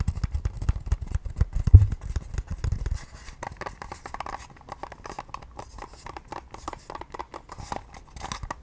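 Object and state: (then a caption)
Plastic facial cleansing device tapped and scratched. Long nails on both hands rapidly tap and scratch the shell of a pale pink, hard plastic, oval facial cleansing device. For the first three seconds the clicks land heavy and dense with a low thump. After that they turn lighter and brighter, a quick scratchy patter of clicks.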